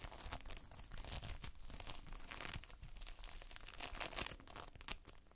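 Multicolored Playfoam, made of foam beads in a sticky binder, is pressed with a whole hand and squeezed with the fingertips. It gives off dense, quiet crackling and sticky tearing, crinkling sounds with bright, sharp pops over a low rumble.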